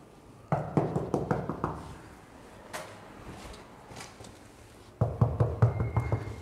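A cheap plastic cover over a gap in a new-build loggia floor slab, leading through to the neighbours, is knocked on in two quick bursts of short, dull, low knocks with almost no ring. The knocks sound hollow, with only air behind the cover rather than a solid monolithic slab, meaning poor sound insulation.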